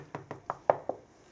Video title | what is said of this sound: DIY: Plaster repair - damaged lath and plaster | this is a solid wall